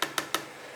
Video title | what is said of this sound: Logitech G Pro X Overview, Towards The Expensive Side But Worth The Money? | it's plastic but it's sturdy plastic so it's not like plastic or more like my armageddon which has this aluminum top plate but it sounds like plastic because so hollow